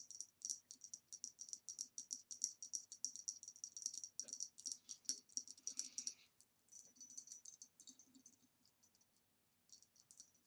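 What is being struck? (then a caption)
Ribbed glass vase. Long nails tap quickly on a hollow green ribbed glass vase standing upside down on its rim, striking its flat base and rounded shoulder. Each tap is a short, bright glassy click with a high ring that dies almost at once. The tapping runs steadily, thins out, pauses briefly near the end, then starts again.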